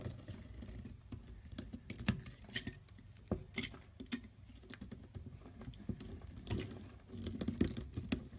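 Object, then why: Bar of soap shaved by a metal blade. A metal blade shaves thin curls off the edge of a solid mint-green bar of soap held in the hand. It makes soft, quick scraping strokes with short crisp ticks, dull and mostly low in tone with brief brighter flicks, in a steady irregular rhythm.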